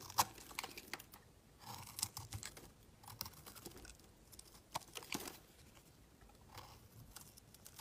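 A utility knife blade shaves a solid, hand-sized blue oval bar of soap into curled shavings. Quiet, crisp scraping and crackling strokes come in short bursts with bright, dry texture and almost no ring, separated by soft pauses.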